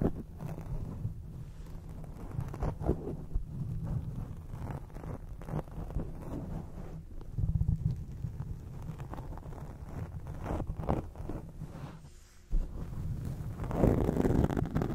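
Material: Foam.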